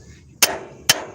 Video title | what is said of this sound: Service Call At An OLIVER Show | hear that solid sound one more time we're snug as a bug